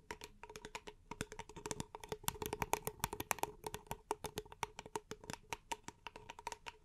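A small, empty, hollow paper cup is held in both hands and tapped and scratched with long nails. The result is a quick, uneven run of dry, clicky taps, each with a short, hollow, mid-pitched tone that dies away almost at once, along with faint scratching between the hits.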